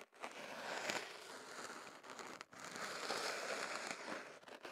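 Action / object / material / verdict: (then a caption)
scrape / kenaf paper tube rubbed with a thin stick / paper / none. A thin swab stick, held by fingertips, scratches and rubs inside the opening of white kenaf paper rolled into a tube around a small microphone. It makes a close, steady, papery crinkling and scratching that is bright and has almost no low end. The sound drops out briefly near the start and again around the middle.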